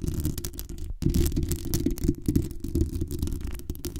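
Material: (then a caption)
Metal. Long acrylic nails scratch and tap the metal mesh grille on top of a hollow black metal desktop condenser USB microphone, then tap along its metal body near the base and the gain knob. The sound is a dense, muffled, low rumbling scrape with many quick knocks, nearly all its energy in the deep bass, with a brief silent gap near the one-second mark.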